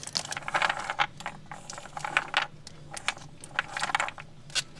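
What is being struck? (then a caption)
Small wooden toy blocks. Small solid wooden alphabet toy blocks with printed letters, piled loosely in a woven basket, are tapped, scratched and rattled against each other with long nails and fingertips. The result is a quick, irregular run of sharp, bright wooden clicks and clacks, with short scratchy rustles between them and almost no low end.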